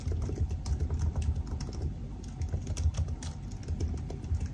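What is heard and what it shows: Fingertips type steadily on the black plastic keys of a silver aluminium laptop keyboard. The result is a continuous run of soft, quick key taps with a dull, low-heavy thud and almost no bright click or ring.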